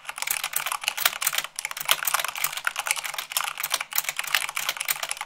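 Fingertips with long nails type fast, at about 98 words per minute, on a mechanical keyboard with white plastic keycaps on a black base. A dense, steady stream of bright, crisp clicks and clacks follows, each one dying away almost instantly, with almost no low-end thump.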